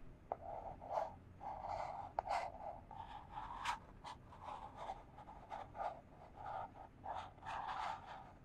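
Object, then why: Small cardboard box. Long fingernails scratch a small, empty, hollow white printed cardboard box held in one hand. A quiet series of dry scratching strokes, each with a hollow papery resonance around 800 Hz and some bright hiss, fades almost instantly.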